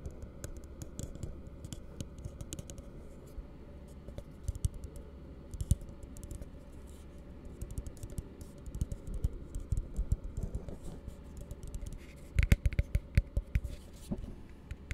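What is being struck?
Plastic cup.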